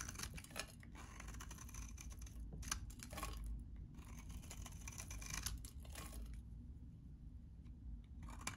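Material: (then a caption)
Soap. A metal utility knife blade scrapes and cuts a solid, hand-sized green bar of very dry vintage soap held in one hand, breaking it into crumbly shavings. Bursts of crisp, bright, crackly scraping come and go in separate strokes, with short quiet gaps between them over a steady low rumble.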